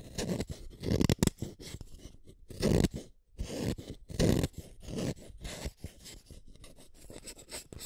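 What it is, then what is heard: Wooden pencil being sharpened. A yellow wooden colored pencil is shaved by the metal blade of a yellow plastic hand sharpener, one at a time. Irregular bursts of dry, crunchy scraping cut the tip, mostly low and full-bodied with a thin bright edge. Quieter rasping fills the gaps between the louder strokes.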